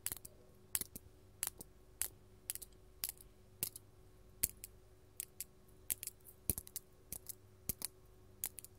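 Long gold metal claw nails from both hands tap a large, solid, faceted purple artificial glass crystal gem. The result is a quiet, irregular series of crisp, bright clicks that die away almost instantly, with a faint low hum steady underneath.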